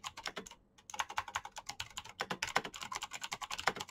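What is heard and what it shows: Fast fingertip typing on a black Razer mechanical keyboard with plastic keycaps and clicky green switches produces a rapid, irregular stream of sharp, bright clicks. A brief pause breaks the typing near the half-second mark before it resumes in dense bursts. Each keystroke is crisp with almost no low end and decays quickly.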